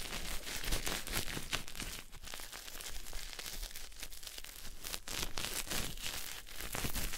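A solid pink bar of soap held in the hand is rubbed with a white cloth, making a continuous dry, scratchy rustle and crinkling. Bright, broadband friction bursts pulse with each stroke over a low rumble.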